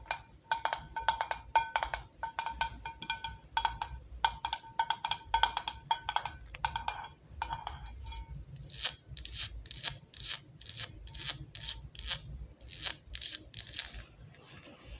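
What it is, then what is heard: Glass jar candle with metal lid. Long acrylic nails tap on the gold metal screw lid and the top of a glass mason jar candle filled with wax. The first half is quick, bright clicking taps carrying a short metallic ping around 900 Hz. The second half shifts to sharper, hissier taps with little ring.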